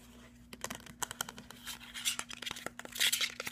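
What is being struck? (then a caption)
Plastic skincare bottle with metal cap. Fingernails tap and scratch a hollow white cylindrical plastic skincare bottle with a silver metal cap, on both the body and the top of the cap. Quick, bright clicks mix with dry, high scratching rasps that build louder toward the end, over a faint steady low hum.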